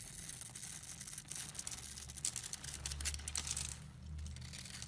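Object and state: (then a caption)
Bar of soap being shaved. A blade scrapes and shaves the surface of a solid, hand-sized bar of orange and yellow striped soap held in the palm, and crumbly flakes fall off. A steady, dense, bright scratching rasp with crisp crackles continues throughout, over a faint low rumble.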